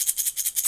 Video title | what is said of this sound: VID 20200331 140604 | I put rice inside my egg